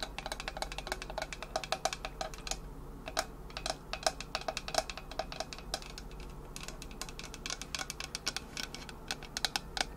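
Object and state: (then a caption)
Stainless steel water bottle tapped with nails. Long nails tap and scratch the body of a hollow Owala insulated stainless steel water bottle with a painted finish. Quick, sharp clicks come in uneven bursts, each with a brief metallic ring around 640 Hz, over a soft scratchy rasp and a steady low hum.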